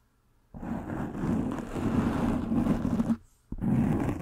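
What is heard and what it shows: Long pink nails scratch and rub a soft black foam windscreen over a microphone head, making a dense, close, rumbling scrape that sits low around 200 Hz. A long stretch of continuous rubbing stops briefly, then a second burst of scratching starts again.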